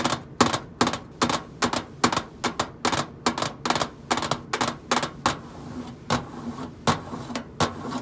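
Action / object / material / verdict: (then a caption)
tap / stainless steel microwave side panel / stainless steel / none. Long nails tap and scratch the side panel of a hollow stainless steel microwave casing. Quick, irregular, bright metallic clicks come in bursts, with faint scraping between them and a low steady hum underneath. Each tap dies away almost at once.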